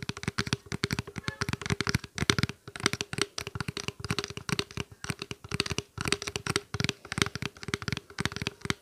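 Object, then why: Small plastic water bottle. A small clear plastic water bottle, hollow with a little water inside, is held upright and tapped and squeezed with fingertips and nails. The result is a rapid, dense stream of short, dry clicking taps and crinkly squeezes with a low hollow thump under bright, crackly edges.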